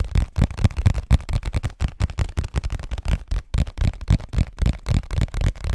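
A hollow cardboard Scotties tissue box, held in both hands, is tapped quickly with fingertips and nails. The taps are dull, low, hollow thumps in an uneven, rapid patter, each dying away almost at once.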